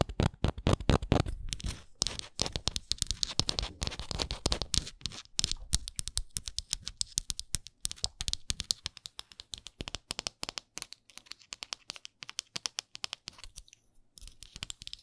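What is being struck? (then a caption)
Small flat wooden ornament. Long nails scratch the edges of a small, solid, printed wooden Canada souvenir ornament, then tap its flat printed face. The result is a quick, uneven stream of dry, bright clicks and scratchy rasps with short low knocks underneath. It starts dense and loud, then thins into sparser, softer taps.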